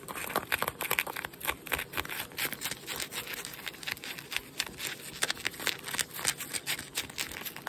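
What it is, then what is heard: Denim jeans being scratched. Fingertips and nails scratch and rub blue denim jeans with metal buttons, worn on the body, near the waistband and pocket. A dense, bright, crinkly scratching runs throughout in rapid short strokes, with no low rumble beneath it.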